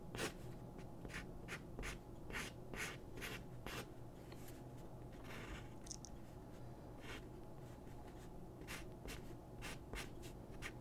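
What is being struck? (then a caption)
Paper sheet on a wooden desk. A pencil makes repeated scratching and shading strokes on a thin white paper drawing sheet resting on a wooden desk, while the other hand steadies the sheet. Short, bright, dry scratches come in quick bursts with a softer stretch of longer shading strokes in the middle, all very quiet over a steady low hum.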